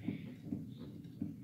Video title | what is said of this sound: Restoring a 136 year-old upright piano by myself | it's moving up and down how it should and it's very muffled